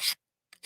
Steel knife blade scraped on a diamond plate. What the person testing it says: it almost sounds like glass skating across